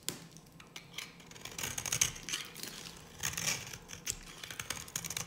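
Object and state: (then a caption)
Dry bar soap being carved. A solid, dry yellow bar of soap held in the hand is carved with a metal blade. The blade gives crisp, bright scraping and cutting strokes with a dry, crackly texture, arriving in short bursts of varying loudness. There is almost no low end.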